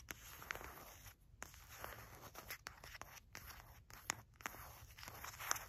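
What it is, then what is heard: Paper and foil spice packet. A small, flat, sealed, filled sachet of mulling spices made of paper and foil lies on a rug, then is picked up and handled while long matte black nails tap and scratch it. Quiet, crisp crinkling and scratchy rustling continue throughout, broken by sharp, bright little taps that stop dead.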